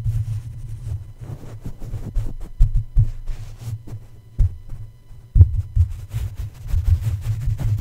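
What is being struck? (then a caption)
Metal mesh microphone grille. A plush toy's soft feet tap repeatedly on top of the hollow black metal mesh grille of a red microphone. The taps come out as dull, low thuds over a steady low rumble, with faint brighter ticks.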